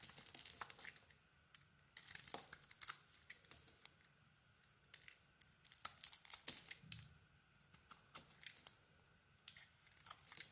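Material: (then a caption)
Soap. A small metal blade held in the fingers carves a solid orange bar of soap with a textured black coating, scraping and shaving its surface. Quiet, crisp, bright scratchy scrapes and shaving strokes come in irregular short bursts, with brief pauses between them.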